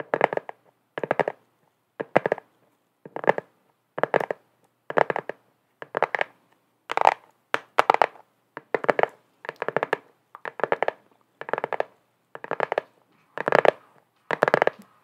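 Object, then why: Flat cardboard gift box. Long acrylic nails tap and scratch the surface of a flat, hollow black cardboard gift box with a white DIGNITAS print, held up in both hands. The clip is a steady series of short bursts of rapid, dry clicks and scrapes, roughly one per second. Each burst is mid-pitched with a bright edge and dies away instantly.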